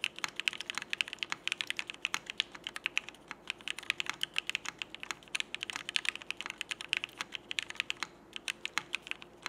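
Fingertips of both hands type in steady, fast presses on a Frog mechanical keyboard with cream CRP Peacock plastic keycaps, Cherry Black switches and an aluminum plate. Dozens of short, bright, clacky keystrokes come in a dense stream, each dying away at once, with almost nothing in the low end.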